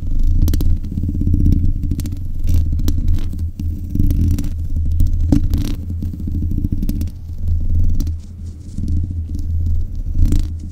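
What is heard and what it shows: Long nails scratch and tap the hollow mesh grille of a black metal desk microphone, along with its top, base and buttons. Close to the mic, this makes a steady, deep rumbling scrape with quick, dull clicks and taps scattered throughout.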